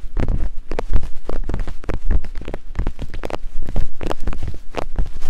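Two thin wooden picks, one in each hand of long-nailed fingers, tap and climb across the pair of soft silicone ear-shaped capsules on a black binaural microphone. The result is a rapid, uneven run of dull, muffled taps and rubbing thumps, heavy in deep low rumble with almost no bright content, each tap dying away almost at once.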